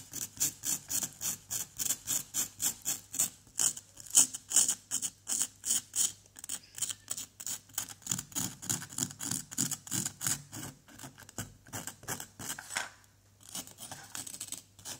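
A pointed wooden or plastic pick held in the fingers scratches and scrapes away a small orange plaster excavation block, lying on cardboard with a pale stone embedded in it. Dozens of short, bright, raspy strokes follow one another in a steady rhythm, each dying away almost at once with little low end. A brief quieter pause comes near the end before the scraping resumes.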